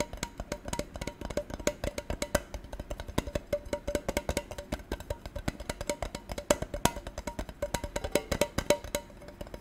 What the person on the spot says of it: 15:53 - Tapping Tin Container